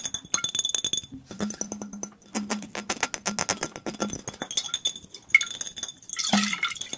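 A mostly empty clear glass soda bottle with a red label is tapped fast with fingertips and nails. The result is a rapid, dense run of bright glassy clinks with short rings and a few louder accents near the end.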